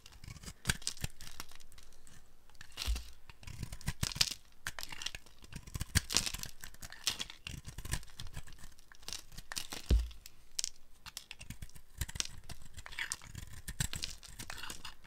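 A dry, palm-sized multicolor soap ball with colourful speckles is held in the hand while a flat metal blade carves crumbly chunks off it. Repeated dry scraping and crumbling crunches are heard, with brief sharp cuts and bright crackly detail over a low rumble.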